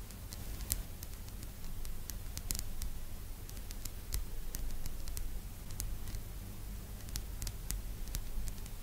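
Long almond-shaped nails tap and scratch the surface of a small, flat, rectangular solid bamboo phone stand with a slot, lying on a purple blanket. Quiet, sharp, bright clicks and soft scraping scatter over a steady low hum.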